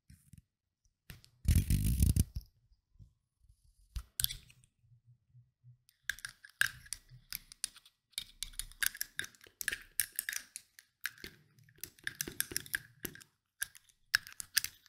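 A small rectangular Nuxe glass perfume oil bottle with a metal spray cap, partly filled with oil, is tapped rapidly with short painted nails on its glass faces and cap. The taps form quick, irregular bursts of sharp, bright clicks with brief pauses between them. A single louder, fuller rustling burst comes near the start.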